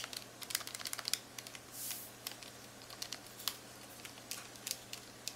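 Long acrylic nails and fingertips rapidly tap and click the rubbery plastic keys of a handheld, hollow black plastic Texas Instruments graphing calculator. The result is a quick, uneven run of sharp, bright clicks with almost no ring, plus a brief soft swishing swell near the two-second mark, over a faint low hum.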